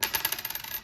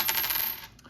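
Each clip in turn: First: zinc one-cent coin. Second: copper penny.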